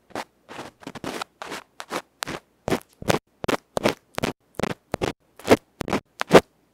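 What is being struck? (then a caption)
Aluminium microphone capsule with felt face. A bamboo ear pick scratches a small hollow aluminium electret microphone capsule with a black felt face, held in fingertips. It makes about twenty short, dry, scratchy bursts in an irregular rhythm, each spreading bright, rustling noise up into the high range with almost no ring. The last few strokes are the loudest.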